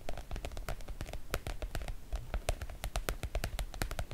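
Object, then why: PVC-coated oilcloth make-up bag. Long coral nails on both hands tap and scratch the coated surface of a floral PVC-coated oilcloth make-up bag. The result is a quick, uneven run of short, dry clicks with a soft low thump beneath them, each dying away almost instantly. Faint scratchy rustling fills the gaps between the taps.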